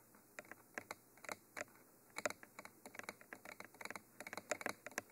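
Long fingernails tap the top of a Mitra 3D Pro binaural microphone, a hollow textured black cylinder, while the other hand steadies its end. About twenty quiet, dry, clicky taps come in uneven bursts, each ending almost instantly, with a bright edge and little low end.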